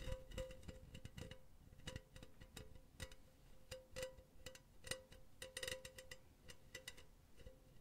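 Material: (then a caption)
Metal mesh. Long nails scratch and tap the surface of a hollow, empty silver metal mesh pen holder held in both hands. The result is a quiet series of quick, sharp ticks and scratchy rasps, each with a faint metallic ring in the midrange and a bright edge, and each dying away almost at once.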